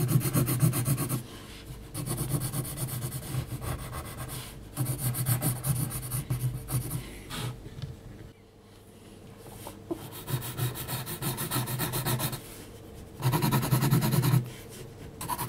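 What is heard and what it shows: A graphite pencil point scratches quick hatching strokes across a flat sheet of heavy textured mixed media paper. The result is a steady, dry, raspy scratching in fast bursts. Short pauses fall between the bursts, and one longer lull comes around the middle.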